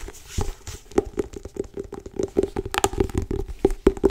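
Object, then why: Cloth-covered hardcover book. Long acrylic nails and fingertips tap and grip the cover of a medium grey-blue cloth-covered solid hardcover book held in the hands. The result is a quick, irregular run of short, dry taps with almost no ring, each carrying a faint mid tone around 390 Hz, mixed with soft scratchy gripping and rubbing between them.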